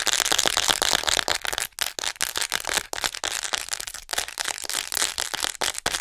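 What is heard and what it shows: Long nails on both hands tap and scratch fast on the back and shoulders of a white hollow plastic acupuncture model doll held close to the mic. It makes a dense, rapid stream of sharp, bright plastic clicks and scratchy rasps with almost no low end. Brief gaps break the stream here and there.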